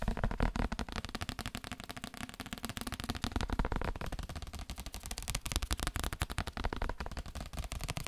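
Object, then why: Paper book. A paper book is tapped in a rapid, steady stream of short, dull knocks that run for the whole clip. The taps are low and thuddy, with little brightness on top, and each dies away almost instantly.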